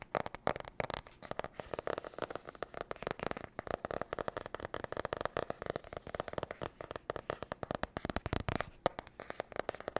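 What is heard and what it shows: Long nails rapidly tap and scratch on the cardboard cover and spiral edge of a glossy marbled spiral notebook. The result is a dense, fast stream of dry, short clicks and crackly scrapes, centered in the midrange with little deep low end and no ringing.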